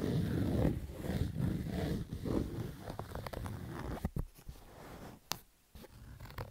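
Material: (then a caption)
Fabric. Fingers and nails scratch the crown of a black Adidas baseball cap made of stitched fabric. The first half is dense, rough, low-heavy rubbing in rhythmic strokes. It then thins out into quieter scratches with occasional sharp, bright scrapes and clicks.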